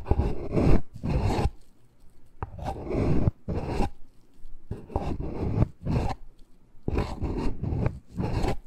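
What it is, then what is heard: Cardboard box being scratched. Fingertips and nails scratch and rub the sides of a small, hollow black cardboard necklace box. The result is irregular bursts of dry, raspy scraping with a deep, hollow, low-pitched body, separated by short pauses.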